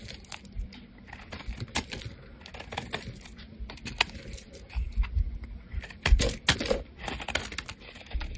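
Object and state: Bar of soap being shaved.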